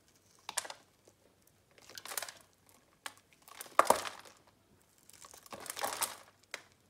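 A metal box-cutter blade carves small cubes off a solid blue bar of soap held in the hand and scored in a grid, and the cubes crumble onto a pile. Several bursts of dry, crumbly crunching and crinkling follow one another, bright with a quick, sharp onset and almost no ring.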